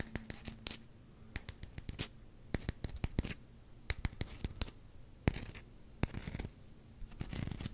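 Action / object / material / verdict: scrape / solid rubber hockey puck / rubber / none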